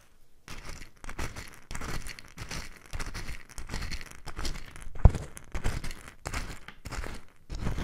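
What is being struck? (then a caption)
Mustard seeds in a small wooden bowl. A small light wooden bowl filled with loose yellow mustard seeds is held close in long lilac-nailed hands, then tilted and shaken so the seeds roll and rustle against the wood. The result is a series of uneven, dense granular swishes with brief pauses between them, heavy in low rumble with a bright crackly hiss on top.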